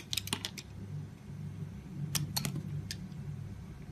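A translucent green glycerin soap bar, held in the hand, is scraped and shaved with a metal utility knife blade. About eight short, crisp, bright scraping clicks come in two clusters, one near the start and one after a pause, over a steady low hum.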